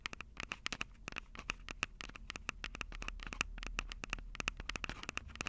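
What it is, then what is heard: Fingernails tapping a handheld recorder's microphones. Long purple acrylic nails tap the two metal-grilled microphone capsules of a Tascam DR-05 handheld recorder with a plastic body. About 34 sharp, dry clicks follow one another in a quick, uneven rhythm, each dying away almost instantly. The clicks have a bright tone centered near 2.6 kHz, with faint scratchy rustling underneath.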